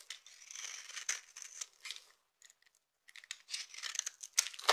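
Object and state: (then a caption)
Dry soap bar being carved. A knife with a yellow handle carves and scrapes the surface of a solid, palm-sized bar of dry purple soap held in the hand, shaving off flakes. Crisp, bright scraping and crackling comes in quick, uneven bursts, goes quiet for about a second in the middle, then picks up again more loudly.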